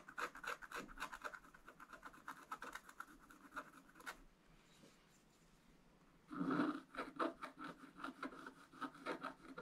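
A wooden stylus scratches and rubs strokes across a wax-coated scratch art page with a rainbow underlayer, making quick, dry, rasping strokes with a papery midrange tone. After about four seconds of steady scratching it falls nearly silent for two seconds, then resumes with a louder rub followed by more rhythmic scratches.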